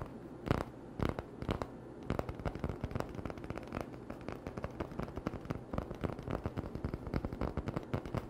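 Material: Cardboard.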